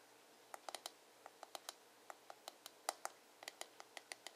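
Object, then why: Plastic hairbrush back. Fingertips and nails tap and scratch the hollow, glossy dark blue plastic back of a paddle hairbrush. About twenty short, dry, bright clicks come in an uneven rhythm, each dying away almost instantly over a faint steady hiss.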